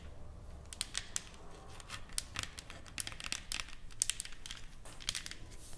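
Long acrylic nails on both hands tap and scratch a flat, solid painted wooden sign board with lettering and flowers, lying on a table. Quick, sharp, bright clicks and short scratchy rasps come in irregular bursts over a faint low rumble, each tap dying away almost instantly.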